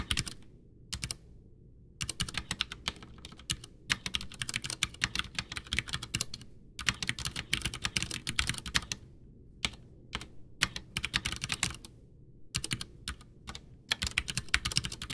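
Both hands type with their fingertips on a full-size, white, backlit plastic mechanical keyboard (Ducky One 2 with Cherry MX Brown switches) whose hollow case rests on a desk. The keys make bursts of bright, sharp clacks with a low thocky body, and short pauses separate runs of fast typing. Each keystroke dies away almost at once.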